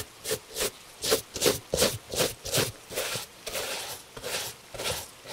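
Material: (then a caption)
Leather. A gloved hand brushes the surface of a tan leather Italian dress shoe held on a table with a bristle shoe brush. A steady run of quick, bright, scratchy swishes sounds at about three strokes per second, each with a faint mid-range tone around 420 Hz and almost no ring after it.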